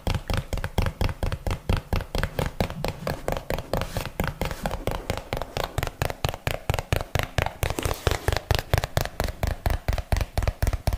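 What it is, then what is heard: Hollow cardboard box. A small, hollow, yellow printed cardboard box, held flat in one hand, is tapped with the long fingernails of the other hand. The result is a steady run of quick, dull, hollow taps, roughly two per second in a loose rhythm, with a deep low thump under each short click and almost no ring after each hit.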